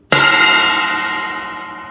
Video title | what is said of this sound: 2013 Jeep GC, Installing soundproofing under the seats/carpet | you can hear it's got a great ringing effect